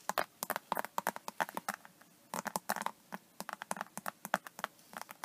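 Long nails and fingertips scratch and tap the raised scales of an iridescent embossed faux snakeskin vinyl iPad case lying flat on a table. Around thirty short, dry, crisp clicks and scratchy taps come in quick bursts, with a brief pause near the two-second mark. The sound is bright and light, with almost no low end and no ring after each tap.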